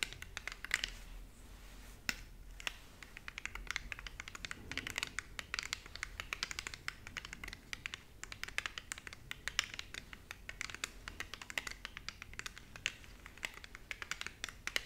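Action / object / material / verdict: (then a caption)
tap / plastic remote control with rubber buttons / plastic / none. A small, flat, hollow plastic infrared LED remote control with a grid of colored rubber buttons is held in both hands and tapped and scratched with long painted nails. Rapid, dry, bright clicks and scratchy rustles run continuously throughout, with only a faint low hum underneath.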